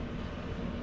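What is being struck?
Nothing is struck.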